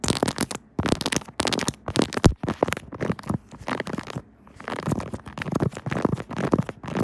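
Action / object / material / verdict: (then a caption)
tap / silicone phone case on a smartphone / silicone / none. A pink 3D silicone Kirby phone case on a smartphone held on a tripod is tapped and scratched by long nails across the keys and case surface. Dense runs of soft, low, muffled clicks and scuffs come in bursts with brief pauses between them.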